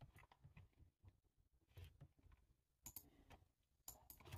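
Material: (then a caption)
Plastic. Fingertips with short nails type on a black low-profile plastic computer keyboard with a hollow body, resting on a table. A quiet, uneven run of short key taps follows, each a dull low thud with a bright click on top that dies away almost at once. A few of the later taps land harder and sharper than the rest.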